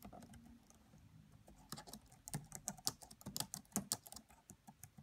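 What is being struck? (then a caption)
Plastic laptop keyboard. Long nails and fingertips tap across the black plastic keys of a red laptop keyboard. It opens with soft, muted typing over a faint low hum, then builds into sharper, brighter clicks and clacks. Each tap is crisp and dies away almost instantly.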